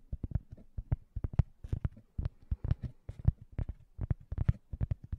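Fingertips tap and scratch a thin, solid, round cork coaster held upright at the side of a microphone. A quiet, rapid string of dull, low thuds is heard, each dying out at once without ring, with brief scratchy bursts that reach up into the high range.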